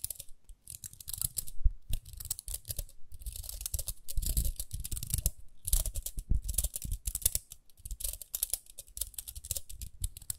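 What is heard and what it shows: Long nails scratch along the ridged rim of a small round pink plastic hairbrush, producing bursts of dense, rapid scratchy clicks with a bright, hissy edge and soft low thuds underneath. The scratching comes in uneven runs separated by brief near-silent pauses, with very short decay on each click.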